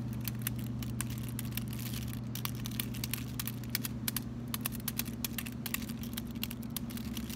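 A solid white chocolate bar wrapped in aluminum foil, taken out of its box, is held in both hands and tapped and scratched on the foil with fingertips and short nails. Quick, irregular crinkly clicks like typing run throughout over a steady low hum.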